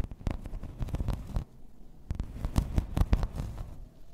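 Long red nails scratch and tap across a grey embossed plastic placemat lying flat. A run of short, dull, low taps with very little ring is mixed with soft, rough scraping, and the sound eases into a quieter stretch of scratching midway before the tapping picks up again.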